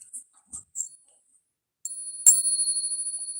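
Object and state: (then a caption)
Silver half dollar, rings true (sound). A silver Capped Bust half dollar is ping-tested as a comparison to a cracked coin that would not ring. After a few faint, brief high clicks, the coin is struck and gives a clear, sustained, bright high-pitched ring that lasts to the end. The ring confirms this coin rings normally.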